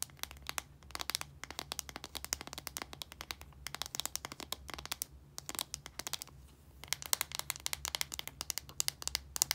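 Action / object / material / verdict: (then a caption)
tap / small plastic deodorant stick / plastic / none. Long nails tap rapidly on a small plastic deodorant stick, moving between its translucent plastic cap and its blue casing. Dozens of sharp, bright clicks come in quick bursts with short pauses between them. A faint, steady low hum runs underneath.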